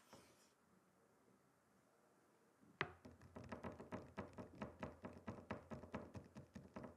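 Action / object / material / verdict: tap / wooden chopping board / wood / none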